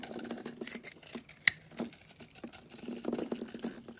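A utility knife blade scrapes a solid cream-colored oval bar of soap held in the palm, peeling off shavings. Soft, dry, bright scraping and crackling run throughout, with one sharp click partway through.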